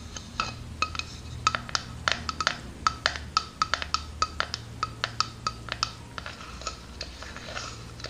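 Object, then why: Plastic drinking cup. Long dark-painted nails tap and scratch all around the ribbed sides of a hand-sized, hollow, empty translucent green plastic drinking cup. Quick, sharp clicks with a bright tone near 1.3 kHz die away almost instantly, over soft scratching and a steady low hum. They come in an uneven rhythm, thinning out toward the end.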